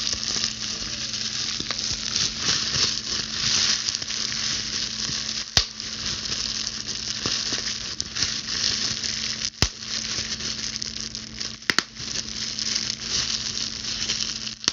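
A clear plastic bubble wrap sheet is held close and its bubbles are pinched and popped with long blue stiletto nails. A steady, bright, sizzling crackle of crinkling plastic runs throughout, broken by a few sharp, loud pops that die away almost instantly.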